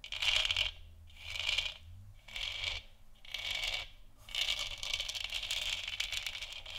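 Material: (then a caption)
Plastic. Long nails tap and scratch across the sides and top of a large, hollow, textured plastic moon lamp sphere. Bursts of bright, crisp clicking and scratching come in several separate passes, with short quieter gaps between them. The last pass runs continuously to the end.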